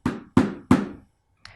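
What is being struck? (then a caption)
Basin struck with a wooden spoon. A wooden spoon strikes a basin three times in quick succession, then once more faintly after a pause. Each hit gives a low, muffled knock that fades within a fraction of a second.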